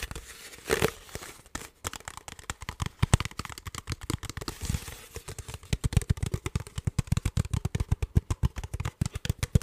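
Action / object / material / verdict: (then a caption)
tap / thin plastic water bottle / plastic / none. An empty, hollow, clear ridged plastic water bottle with a blue cap is crinkled and tapped with fingertips and nails. A brief crinkle near the start gives way to dozens of quick, dry taps and clicks. Most are dull, low, hollow thumps that cut off almost instantly, with only faint bright crackle above them.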